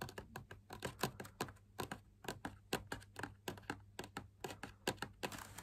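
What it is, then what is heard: Perforated fabric lamp shade. Fingertips and short nails tap quickly on the inner wall of a large hollow drum lamp shade, made of fabric laminated on a stiff backing with punched dot patterns and a white wire frame. About thirty short, dry taps sound with a soft papery click and almost no ring, over a faint steady low hum. A brief rustly hiss rises at the very end.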